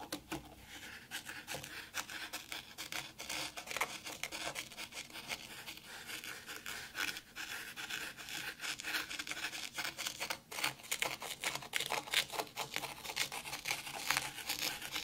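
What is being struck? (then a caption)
Fine white sand in a tray. Long pink nails and fingertips scratch, poke and press into fine white sand in a black round tray. The result is a continuous, dense, grainy scratching and rustling, mostly bright and high with almost no low end, swelling and fading irregularly throughout.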